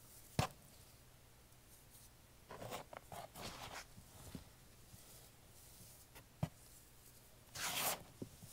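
Bare fingertips squeeze, crumble and rub a container of crumbled green floral foam mixed with white carpet cleaner powder and paste. Sharp, brief crunchy snaps alternate with bursts of bright, gritty crackling and rustling. A quiet low hum sits underneath.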